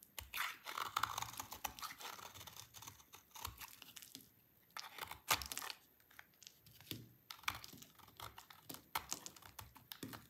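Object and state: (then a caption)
Dry soap bar being shaved. A small, dry, solid oval soap bar with pink and white stripes is held in hand and shaved with a utility knife. It makes bursts of crisp, bright scraping and crunching strokes with dry, crumbly texture, quieting briefly in the middle before the shaving resumes.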